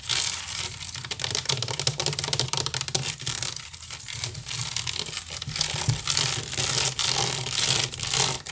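Fingernails scratch quickly across the weave of a large, hollow, woven wicker basket, with the hands appearing briefly at the edges of the frame. The sound is a dense, bright, crackling rasp of rapid, irregular scratches that swells and dips in bursts, over a faint low hollow undertone.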